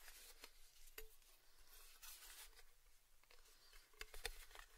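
Fingertips tap the small, hollow, round red-painted metal lid of a Baileys gift tin held in both hands. The taps are soft and quiet, with a faint, quickly fading hollow ring, bright scratchy patter, and a low background hum.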